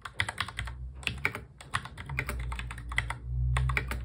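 Fingertips of both hands touch-type quickly on a full-size black plastic mechanical keyboard, producing a rapid stream of sharp, bright key clicks centered around 2.3 kHz. Brief pauses break up the typing, and a steady low hum runs underneath.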